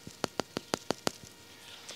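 A plastic water delivery pipe, in a section full of water, is tapped in a quick, steady series of six sharp, dull knocks, with fainter knocks just before and after. Each tap stops almost at once with no ring, which marks the pipe section as full.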